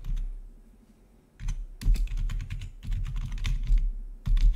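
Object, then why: Plastic membrane keyboard. Rapid typing with the fingertips of both hands on a full-size black plastic membrane-style gaming keyboard with blue-to-red RGB backlit keys. A dense run of soft, muffled key clacks with a low thump, briefly pausing before resuming in quick flurries.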